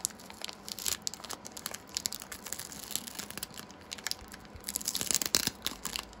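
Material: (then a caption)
Foil plastic. A small foil plastic Pokémon Shining Fates booster pack, still full of cards, is held in both hands while the fingertips crinkle and tear the foil strip open along the top. Dense, bright crinkling and sharp crackling come in quick, dry bursts with almost no low end, growing louder near the end as the strip rips open.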